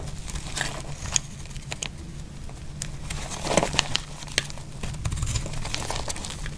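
A metal utility blade scrapes and slices flakes off a solid, dry yellow soap bar held in hand. The clip is a series of crisp, dry crackling scrapes and brief bright clicks, with a few sharper snaps near the middle, over a steady low hum.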